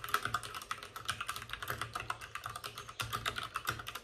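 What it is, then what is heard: Plastic mechanical keyboard. Both hands type rapidly with their fingertips on the plastic keycaps of a white plastic backlit RGB mechanical computer keyboard resting on a desk with a padded wrist rest. The result is a dense, steady stream of short, bright clicks and clacks that die away almost instantly, with a brief lull just before the typing picks up again near the end.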